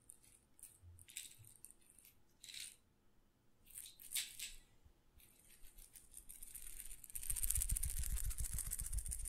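A small glass pepper grinder jar with a black plastic grinder top, filled with whole black peppercorns, is held in one hand and shaken so the peppercorns rattle against the glass. Brief, bright rattling bursts come and go over a quiet background, then build into a louder, continuous rattle with a low rumble in the final seconds.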